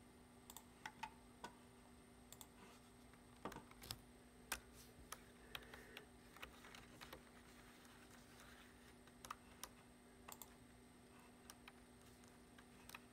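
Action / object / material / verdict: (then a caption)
tap / plastic computer keyboard keys / plastic / none. A hand wearing a ring types with its fingertips on the low-profile keys of a black plastic computer keyboard resting on a wooden desk. Soft, short, bright clicky taps come in irregular, sparse bursts over a faint, steady low hum.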